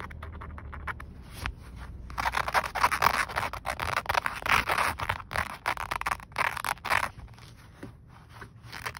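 Green-painted fingernails and fingertips scratch a grey woven nylon/polyester car seatbelt strap with a plastic stop button, a flat, thin fabric band worn across the lap. Rapid, uneven raspy scrapes swell from a quieter start into dense bursts centered in the midrange, with brief gaps between strokes. A faint low hum sits underneath.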